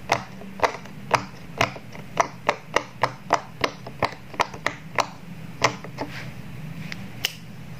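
Fingertips press the hollow bubble domes of a square rainbow silicone pop-it toy resting on a table, popping them one by one. About twenty short, dry pops come at an irregular rhythm. Each snaps briefly with a mid-pitched, bright click that dies almost instantly over a faint low background hum.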